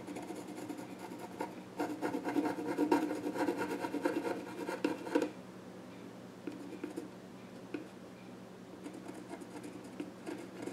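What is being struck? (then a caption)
Wooden child's stool. A pencil scratches short strokes across the flat top of a small wooden child's stool. A dense, raspy burst of scratching builds from about 2 to 5 seconds, then drops to a quieter, steady hiss broken by occasional brief strokes.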